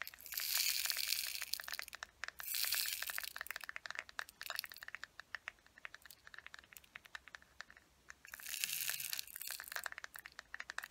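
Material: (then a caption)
Plastic. Long nails tap and scratch the top edge of a hollow, closed teal plastic case standing upright. Bursts of dry, bright scratching alternate with quick, irregular clicky taps, and the hollow case gives each tap a short, crisp knock.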